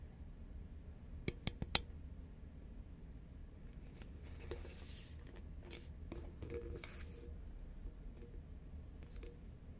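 Fingernails tap the side of a tall, hollow cylindrical cardboard Pringles can made of composite paperboard as it is turned from horizontal to upright. Four quick, sharp, dry taps come close together near the start, then softer bright scratchy brushes and rustles follow over a low, quiet background hum.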